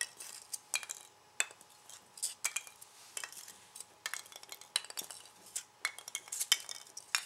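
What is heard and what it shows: Fingertips pick up, drop and push small, light, white S-shaped expanded polystyrene packing peanuts on a bamboo board, so they click against each other and the board. The result is a quiet, uneven stream of short, dry, bright clicks and squeaky scratches with almost no low end and no ringing after each tap.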